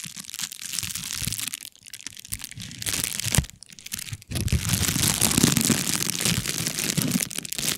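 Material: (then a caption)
Metallized foil. An empty, flat, thin silver foil-lined bubble mailer with air-bubble padding is held in both hands, squeezed and crinkled by the fingertips while the fingers rub across its surface in front of the microphone. Dense, bright crackling and crunching run throughout, softening briefly and dropping almost silent for a moment before a sharp crack near the middle. The crinkling then returns louder and steadier to the end.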